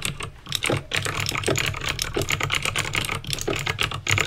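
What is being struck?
Plastic mechanical keyboard with clicky switches.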